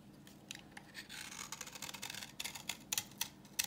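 A utility knife blade scrapes a solid, translucent orange bar of dry vintage soap held in the hand, peeling off crumbly yellow shavings. Quiet, bright, dry scraping rasps are broken by sharp crackling snaps, with almost no low end and no ringing afterward.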